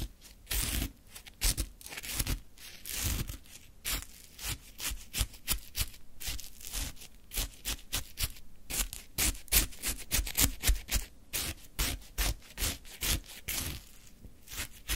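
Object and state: Shaved ice scraped with a wooden stick.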